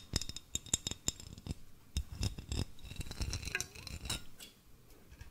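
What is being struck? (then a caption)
Glass mason jar with metal screw lid. A hollow, empty medium blue glass mason jar with a silver metal screw lid is held in the hands and tapped with fingertips and nails on its glass body and lid while being turned near the microphone. The result is a run of quick, bright clinks and ticks with very short ring, over soft handling rustle and low thumps.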